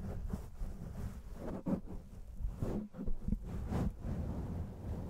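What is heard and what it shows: Fingernails and fingertips scratch across a black foam microphone windscreen. The result is a steady, muffled, low rumbling rustle with soft swelling bursts, heavy in the bass with almost no bright content.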